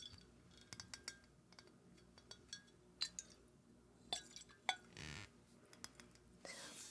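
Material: Glass.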